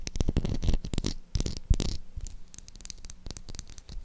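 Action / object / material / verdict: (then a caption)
tap / soap bar / soap / none. Long acrylic nails tap and scratch the top and edges of a solid light-blue Dettol soap bar held in the hand. The result is a quick, uneven run of sharp, dry clicks and scrapes, busier and louder in the first two seconds and softer after.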